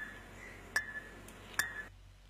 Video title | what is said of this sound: Using Brick on Civil Engineering | ইটকে হাতুড়ি বা অন্য একটি ইট দিয়ে আঘাত করলে ধাতব শব্দ হবে।